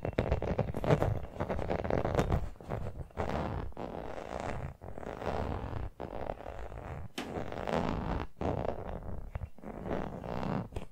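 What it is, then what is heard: Rubber toy football. Long painted nails tap and scratch the pebbled surface of a small brown rubber toy football with white laces, which looks hollow and is held close to the mic. The result is a dense, low, rumbling scratch broken by quick short pauses, with soft muffled taps running through it.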